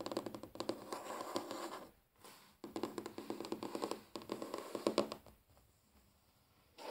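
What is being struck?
Wooden tabletop.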